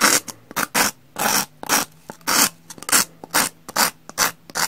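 A metal knife blade scrapes over the rough surface of a solid, porous brown pumice block. It makes a series of short, bright, gritty rasping strokes separated by brief pauses and small scratchy ticks, with almost no low end.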